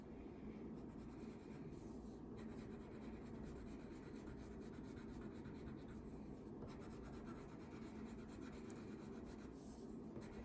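A green wax crayon held by the fingertips is rubbed across a thin paper coloring page lying flat on a table, shading a mermaid tail. A steady, soft, low waxy scratching continues unbroken throughout, with faint bright rasping texture in places.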